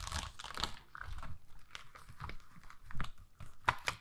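A flat, flexible plastic rhinestone sticker sheet with rows of pink plastic rhinestones is held up and then held flat while long nails scratch and tap the gems and flex the sheet. Irregular crinkly scratches and short clicking taps are heard, with a few sharper clicks near the end, in a quiet setting.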